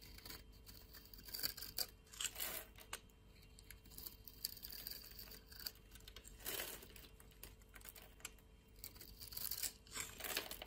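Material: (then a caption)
Soap. A utility blade scores a solid white soap bar held in a hand with long nails and scrapes off flaky crumbs. The clip is quiet, with bright, crisp scraping and tearing strokes that rise and fall over a faint steady hiss. The strokes land in clusters, and each stops dead with no ring.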